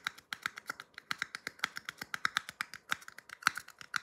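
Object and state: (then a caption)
Paper cup tapped. A small empty red paper cup is held upside down in one hand and tapped with the fingertips of the other hand. About thirty quick, dry, papery taps come in an uneven rhythm, each with a hollow tone near 1.4 kHz and a bright click. They stop instantly with no ring, sounding much like typing or light finger snaps.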